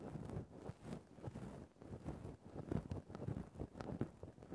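The tip of a thin bamboo ear-pick, held in the fingers, scrapes and pokes at a grey faux-fur microphone windscreen. The result is a dense, muffled stream of low rustling and scratching, with soft thuds rising and falling irregularly and almost no bright or high content.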